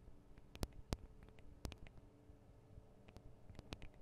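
Long acrylic nails tap on the small metal X/Y microphone capsules of a Tascam DR-40 recorder, producing quiet, irregular clicks with sharp, bright transients and almost no ring. The strongest taps stand out at about 0.6, 0.9, 1.65 and 3.7 seconds over a low rumbling hum.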